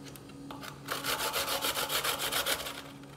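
A solid white piece of fresh coconut meat, gripped by the fingers, is rubbed rapidly on a steel box grater, and the shreds pile up on a bamboo board. After a quiet start, a fast, steady run of bright, scratchy rasping strokes comes in at about three to four per second. The strokes then fade back to a low background hum.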